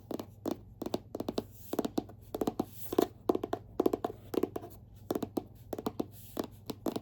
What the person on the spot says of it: they're all hard cover. So, fun to tap and scratch on.